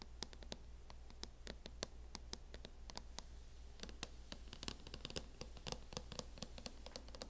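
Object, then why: Plastic hard-shell laptop case. Long nails scratch and tap across the matte lid of a closed MacBook in a teal matte plastic hard-shell case. A rapid, irregular series of sharp, bright clicks and scratches rises over a steady low hum, each click dying away almost instantly.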